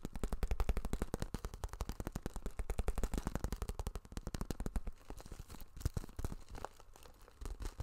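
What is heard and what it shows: A small, flexible holographic Vanity Planet cosmetic zip pouch of iridescent plastic or vinyl, held in hand and likely not empty, is tapped, scratched and crinkled with fingertips and nails close to the microphone. Rapid, dry, low-heavy taps come in a dense stream for about four seconds, then turn quieter and sparser with softer scratching and crinkling until the end.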